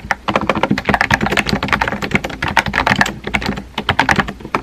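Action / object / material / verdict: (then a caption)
tap / plastic keyboard with round plastic keycaps / plastic / none. Fingertips type continuously on a small pink and white Kakao edition plastic keyboard with round plastic keycaps and a hollow body. Rapid, overlapping clicky taps with a hollow plastic clack carry a bright midrange tone around 1.8 kHz, and each stroke dies away almost instantly.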